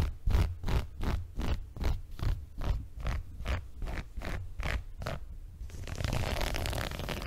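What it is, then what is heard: Woven fabric rug being scratched. Fingertips and nails scratch the coarse textile surface near the top of a small multicolored woven fabric rug held upright. The result is a steady series of rhythmic, raspy scratching strokes with a heavy low thump under each one, ending in a denser, continuous rough scratching.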